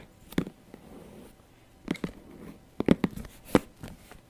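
Long nails tap the shiny synthetic surface of a small, glossy black patent faux leather handbag with a gold clasp, hollow and apparently holding items, held beside the mic. Nine short, dull taps come at an irregular pace, each a soft low-mid knock that dies away almost instantly. The taps stand out against a quiet background.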